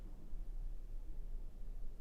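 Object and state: Nothing is struck.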